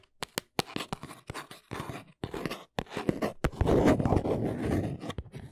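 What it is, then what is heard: Cardboard box tapped with nails. A small, hollow brown cardboard box lying on its side is tapped rapidly along its sides with long nails, producing quick, dry clicks mixed with scratchy scraping. The taps come at an irregular pace, building into a denser, rougher scratching texture toward the end.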